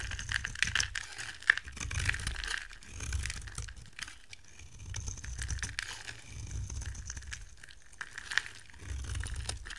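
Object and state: Dry soap bar being carved.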